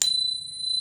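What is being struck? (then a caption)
Sterling silver coin. A 92.5% sterling silver coin from the Bahamas, the least pure coin on the table, is pinged, giving a bright, clear ring that sustains steadily through the clip. Its resonance is long and sweet, marking it as the sweet spot for silver coins.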